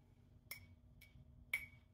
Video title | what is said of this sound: Breakfast, New Food For Spice, Baking Elf On A Shelf Cookies, Dinner and Conversation | you hear this does not ring at all